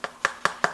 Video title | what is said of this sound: HOW TO make cheap and easy tunnel liner for your layout. | the glue has since dried, and that has created a nice firm shell all the way through